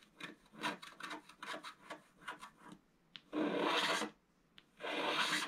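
A scratch-art card is held flat with one hand and scratched along its lower edge with a wooden stylus. A run of short, quick scraping strokes gives way to two long, loud, bright rasping scrapes separated by a short pause.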